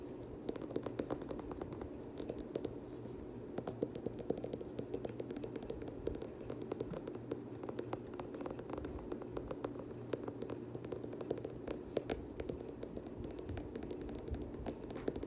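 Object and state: Suede sneaker being scratched and tapped.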